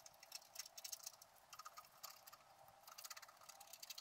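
A wooden stylus held in the fingertips scratches orange fur lines into the black squirrel coating of a flat, wax-coated scratch-art card. The steady strokes make quiet, dry, bright scratching with no low end, each short stroke stopping almost instantly.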